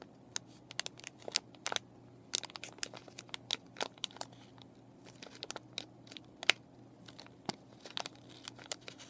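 Fingernails scratch and fingers crinkle a clear plastic and cardboard paintbrush package with brushes inside, giving a quiet run of sharp, bright crackles and scrapes. The short ticks come irregularly over a faint low hum, with a few louder snaps standing out.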